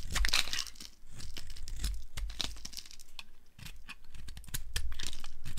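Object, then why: Bar of soap carved with a flat blade. A flat blade carves the edges of a solid, pinkish-mauve dry soap bar held in the hand. Rapid, crumbly scraping and crunching cuts run together almost continuously, with a low thud-like body under bright, gritty shaving texture. The level dips briefly between passes before picking up again.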